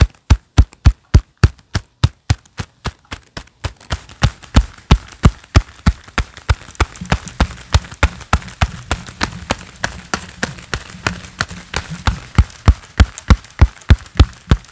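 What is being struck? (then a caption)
Leather-gloved hands. A pair of black leather gloves worn on both hands, with the gloved palms clapping together repeatedly. The claps are short, dull, low thumps at a fast, fairly steady pace of about three per second, with almost no ring. After about four seconds, a faint steady hiss and low hum sit beneath them.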